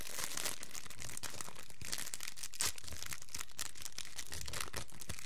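A small, thin, empty clear plastic cellophane wrapper is crumpled, then stretched open and crinkled by the fingertips of both hands. The result is a steady, dense crackle of bright, crisp crinkles with one slightly louder snap midway through.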